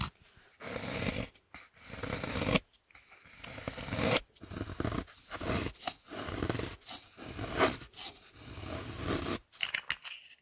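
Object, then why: Dark chocolate block scraped with a knife. A knife scrapes down the face of a large, thick, solid dark chocolate block held upright, carving off shavings. Rough, crunchy scraping strokes come one after another with short pauses between them.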